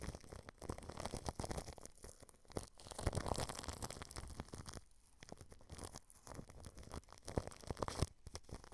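A small paintbrush sweeps back and forth over clear plastic cling film wrapped over a microphone grille. It makes a steady crinkly, scratchy brushing with dense rustles and soft low thumps, quieting briefly around the five-second mark before resuming.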